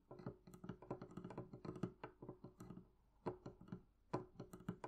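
Long nails tap quickly on the wooden planks of the lid of a medium, hollow, closed wooden barrel chest. The quiet, hollow, woody clicks and knocks have a low body and die away almost at once. They come in irregular bursts, with a brief lull just past the three-second mark.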